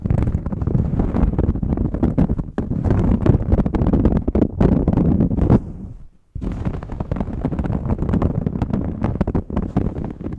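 Fingernails scratch along the collar band of a red ribbed knit shirt, making a dense, low, rumbling scrape that runs almost continuously. It breaks off briefly near the six-second mark to near silence, then resumes.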